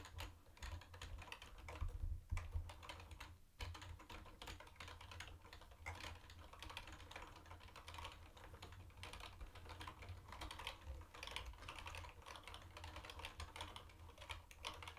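Both hands type fast with their fingertips on a mint-green plastic retro keyboard with round white plastic keycaps. The result is a steady stream of quick, light plastic clacks over a constant low hum.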